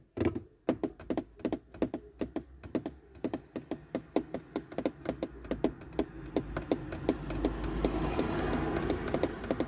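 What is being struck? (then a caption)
Molded plastic car center console panel. A black textured plastic center console panel inside a car, next to a USB port and a silver trim strip, is tapped and scratched with long red-painted nails and fingertips. Quick, dry, hollow taps come in an uneven rhythm, while a soft scratching hiss slowly builds underneath and grows louder toward the end.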